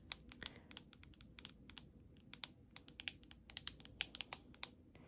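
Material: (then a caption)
Glass. Long acrylic nails tap rapidly on the glass back of a hand-held black iPhone 13 with a metal frame, out of its box, which is turned over at the end. The clicks are sharp, bright and very short, coming in an irregular, quick patter over a faint low background.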